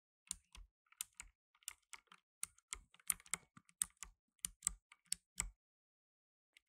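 Fingertips in blue nitrile gloves rapidly press the plastic keycaps of a black plastic tenkeyless mechanical keyboard, typing about eighteen separate keystrokes. Each one is a quick, bright click with a soft low thud beneath it and almost no ring. The keystrokes come in an uneven, fairly quiet burst, followed by a short pause before two final taps.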